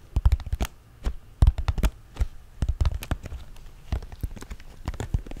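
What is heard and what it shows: A small, printed, hollow cardboard LEGO Friends set box, apparently sealed, is held up in both hands while fingertips and nails tap rapidly on its cardboard faces. Irregular bursts of short, dull, hollow taps come in quick clusters with brief pauses, each tap a low thump with a crisp papery click and almost no ring.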